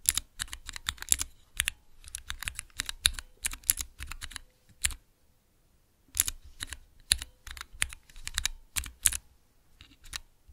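Fingertips press the keys of a small clear plastic Cherry MX key switch tester resting on dark cloth, producing rapid, bright plastic clacks with a light low thump beneath each one. The presses come in quick bursts with a short pause in the middle, and each click cuts off almost instantly.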